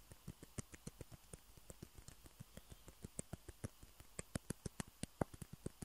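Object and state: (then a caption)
Plastic ping pong balls tapped with fingernails. Fingernails tap and scratch the surfaces of two small, hollow white plastic table tennis balls, one held in each hand. About two dozen quiet, dry clicks come in an uneven patter, each a short tick with a low body and a bright edge that dies away instantly. Faint scratching fills the gaps, and the taps grow a little sharper toward the end.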